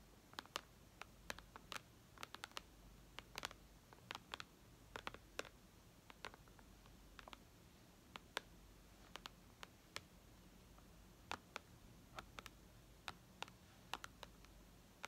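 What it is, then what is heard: Tablet glass screen tapped with fingernails. Long red nails tap on the glass touchscreen of a white iPad lying flat. Dozens of quiet, sharp, dry clicks come in irregular bursts over a faint low hum, each dying out almost instantly.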